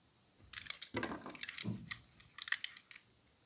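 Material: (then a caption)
Soap. A solid white stamped soap bar, held in a gloved hand, is cut and shaved with a utility knife blade. Quick, dry, crisp scrapes and ticks cluster in the bright upper range, and two longer, fuller shaving strokes carry more low body. It ends in near silence.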